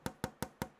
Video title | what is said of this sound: Unboxing and Assembling ITX Server | it's glass but it actually sounds like plastic